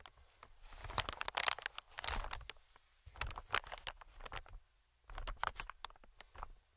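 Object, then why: Plastic film air cushion. Fingertips tap and scratch the surface of a medium green, inflated, hollow air cushion made of recycled plastic film. Bursts of sharp, bright crinkling clicks and scratchy rustles come in clusters, with brief quiet pauses near 3 and 5 seconds. A faint low rumble sits underneath.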